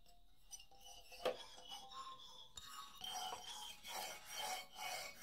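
Fingernails scratch across the solid hardwood bars of a wooden xylophone lying flat. Soft, dry rasping strokes carry faint tonal hints around 570 Hz, with a sharper click about a second in. Bright, louder scraping swells build toward the end.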